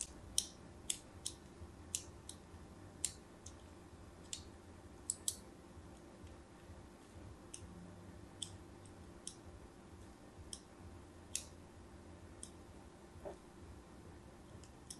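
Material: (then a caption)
Soap. A craft blade scratches diagonal grid lines into the face of a solid white embossed bar of soap held in the hand. About seventeen short, bright, crisp scraping clicks come at irregular intervals over a faint steady low background hum.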